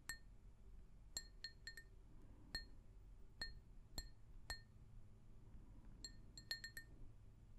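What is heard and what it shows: An empty, hollow pink glazed ceramic mug is tapped with long nails in 14 irregular, separate taps. Each tap gives a short, bright clink with clear ringing tones from the mid range up into the high register, fading quickly. Quiet low rumble sits underneath.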